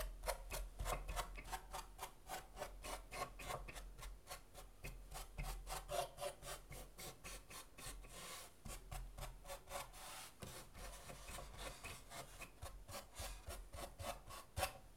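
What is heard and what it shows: Fingertips scratch and rub across the braces inside the hollow interior of a wooden acoustic guitar cut in half, a thin wooden plate with braces and a soundhole. Quick, dry rasping strokes repeat at about three to four per second in a loose rhythm, each with a short, woody mid-range tone and a bright scratchy edge over a steady low hum.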